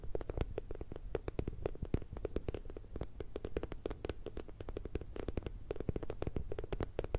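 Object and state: Silicone bear night light.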